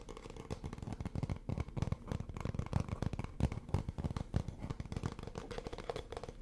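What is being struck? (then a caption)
Small hollow wooden or bamboo stand. A light, palm-sized bamboo or wooden stand, hollow with a slot and held in both hands, is tapped and scratched with fingertips and nails. The result is a rapid, steady stream of soft, dull, hollow taps with short scratchy rustles, mostly low in tone with very little ring.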